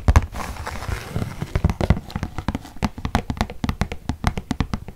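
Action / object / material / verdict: tap / paper gift bag / paper / none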